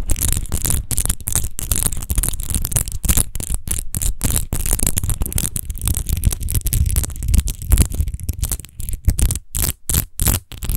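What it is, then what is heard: Textured glass bottle being scratched. Long nails scratch quickly over the embossed rose texture of an empty, hollow, clear glass wine bottle. The result is a dense run of short, rasping scrapes broken by brief gaps, with a heavy low rumble underneath and a bright hiss on top. The strokes grow choppier and more separated toward the end.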